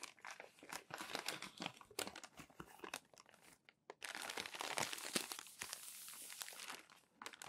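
Fingertips rub and smooth a stack of crumpled glossy magazine pages and flip them, making irregular, bright crinkling and rustling with sharp crackles. After a brief near-silent pause just before the four-second mark, the crinkling returns as a louder, denser, continuous rustle, then drops away near the end.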